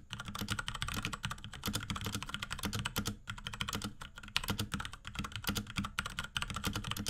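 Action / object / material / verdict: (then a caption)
tap / plastic mechanical keyboard / plastic / none. Both hands type rapidly with the fingertips on a small pink Akko X Ducky 3084 mechanical keyboard fitted with Cherry MX Brown switches, plastic keycaps and a plastic case. The result is a dense, steady stream of short, dry clacks, each with a low thock and a bright click that stops almost at once.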